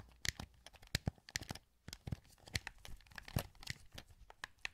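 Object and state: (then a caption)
Plastic game controller, hollow. Fingertips click the buttons and sticks of a hollow, translucent green plastic PS2 wireless controller held in both hands. A rapid, uneven run of short, dry plastic clicks and taps is heard, each with a low thump and a bright snap, and none of them ring on.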